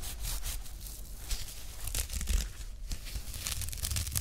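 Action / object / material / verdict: scrape / woven nylon watch strap / nylon / none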